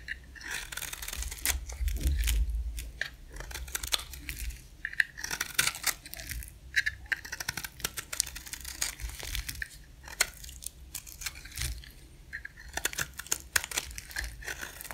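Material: Soap.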